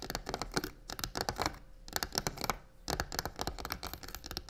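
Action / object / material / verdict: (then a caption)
scrape / faux leather covered box / faux leather / none. A hand with long nails quickly taps and rubs the side of a hollow, black croc-textured faux leather box resting on a table. Rapid, dense scratching and crisp tapping bursts come in quick runs, with brief lulls between them.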